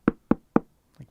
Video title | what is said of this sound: Zero's Familiar Vols 1 & 2 - ANIME BOOK CLUB #12 | I do like how it sounds you can like knock on it